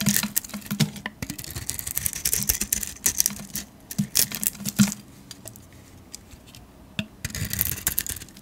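A metal blade shaves the glittery grey painted shell off a solid yellow soap bar held in the hand. Dense, crisp scraping and crackly ticks with bright hiss and a faint low hum run for about five seconds, thin out to a quiet stretch, then return near the end.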